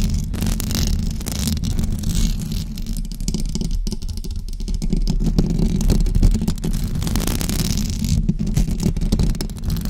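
Long blue acrylic nails scratch a white knitted fabric cover over a rounded microphone head. The result is a dense, steady, low rumbling scrape with fast, continuous scratching texture and little high-end content.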